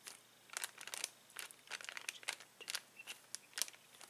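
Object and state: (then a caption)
Plastic bag of latex balloons. Fingers press, squeeze and crinkle a clear plastic bag full of uninflated latex balloons. The result is a quiet series of short, bright, crackling crinkles in uneven bursts, with almost no low end and brief silences between them.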